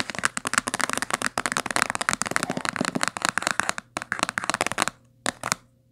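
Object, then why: Hardcover book with coated board cover. Fingernails rapidly scratch and tap the spine edge of a thick, solid blue-green hardcover book with a coated board cover, lying closed on a table. A fast, dense run of dry, bright clicks and scratchy rasps with almost no low end and no ring. The run stops just before five seconds, leaving a near-silent pause broken by a couple of final taps.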